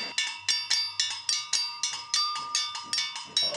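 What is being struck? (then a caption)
Rusted iron bell-like object. A hand-sized, curved, rusted iron bell-like object, possibly hollow, is fixed against a mossy stone wall and held steady by one hand while the other strikes it repeatedly with a thin metal rod. Twelve bright, metallic clanks ring out in an uneven rhythm, each decaying quickly, with sustained high ringing tones and a steady tone near 1 kHz carrying between strikes.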